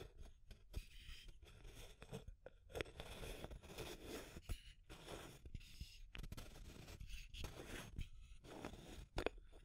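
Long nails tap and scratch the wall of a small clear labeled plastic tube container with an aluminum screw lid. Quiet, dry clicks are scattered among soft, crunchy scraping rustles. Each tap dies away at once, with no ring.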